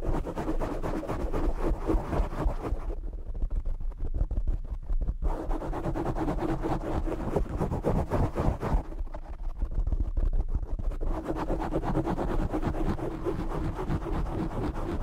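Fingertips and short nails vigorously scratch and tap the black foam windscreen on a desk microphone. This makes a dense, continuous, bass-heavy rustling and scraping with rapid muffled taps. The sound briefly turns duller and thinner around 3–5 seconds and again around 9–11 seconds, then returns.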